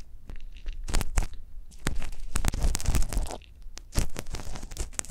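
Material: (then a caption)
Silicone. A gloved hand scrapes inside the canal of a life-size hollow silicone ear model on a stand, using a metal ear pick with a pale handle, with a microphone inside the ear. The close-up sound is a series of crackly, crunchy scraping and tearing bursts over a dull, low rumble, with brief quieter gaps between strokes.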